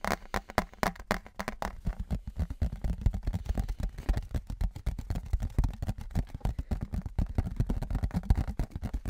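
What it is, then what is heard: Thin metal license plate tapped and scratched. Fingertips and nails rapidly tap and scratch a thin, embossed metal souvenir license plate held in both hands as it is raised and then lowered in front of the mic. The result is a dense stream of short, dry clicks and scrapes with a heavy, dull low-end thump and very little ring.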